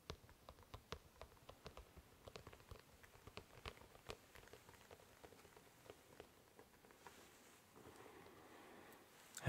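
An empty glossy black leather dress shoe is held in both hands and tapped and scratched by fingertips on its upper and sole at a slow pace. Many short, dry clicks and taps stand out over soft scratching. Near the end, a steadier rustling scratch takes over.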